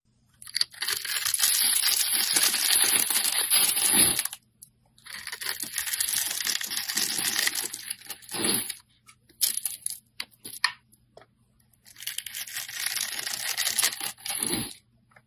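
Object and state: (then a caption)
Bar soap being cut and scraped. A solid purple bar of soap with embossed lettering, held in the hand, has its grid-scored surface cut and scraped by a blade into crumbly flakes. Three long bursts of bright, dry scraping and crunching crackle are heard, separated by quieter gaps with a few short isolated scrapes.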